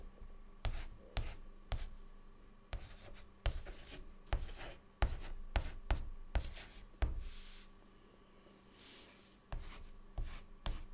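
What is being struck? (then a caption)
Chalk stick on a flat chalkboard. A stick of white chalk held in the fingertips writes on a large, flat, dark, solid chalkboard lying flat. About fourteen short, sharp chalk strokes tap and scratch across the surface, each with a bright rasp and a low knock. A quieter stretch of soft rubbing near the end is set against a faint steady hum.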